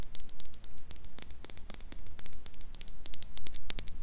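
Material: Glass.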